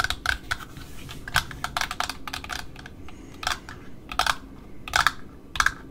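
Long metallic nails tap and scratch the printed cardboard face of a small black satin ribbon spool held in the hands, then move to the edge of the wound ribbon. Quick, dry clicks with a bright papery tone around 1.3 kHz come in irregular bursts, separated by a soft scratching hiss.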